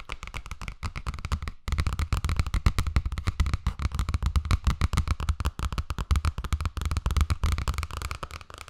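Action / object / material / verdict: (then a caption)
tap / hardcover book, cardboard and paper / cardboard / none. A medium-size hardcover children's picture book made of paper between cardboard covers, with a glossy teal cover and an orange cartoon face, is held in one hand and tapped and scratched on the cover with long painted nails, with the pages possibly flicked or handled. A dense, fast stream of short, dry taps and scratches runs almost without pause, with a brief gap early on. The sound is mostly low and thumpy, with a soft papery rustle above.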